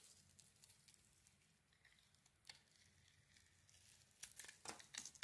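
A metal craft blade shaves thin strips from a solid white glittery soap bar, a palm-sized rectangle held in the hand. The sound is a quiet, bright, crisp scraping and crackling that grows into louder, sharper shaving bursts toward the end.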